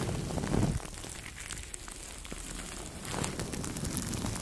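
Two makeup brushes rub across clear plastic cling film wrapped around the head of a Blue Yeti microphone, producing a steady, crackly rustling with a heavy low rumble and bright, crisp crinkles. The brushing swells loudest around half a second in, drops to a softer scratchy texture, then grows fuller again from about three seconds to the end.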